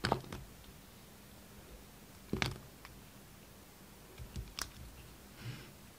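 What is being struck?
Soap bar cut with a steel blade.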